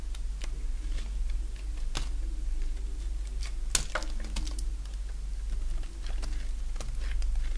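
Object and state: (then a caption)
Bar of soap being cut. A solid oval bar of dry green soap, held in the hand, is shaved with a box-cutter blade. Short, crisp scraping and cutting clicks come one after another over a steady low hum, each one bright and dying away almost at once.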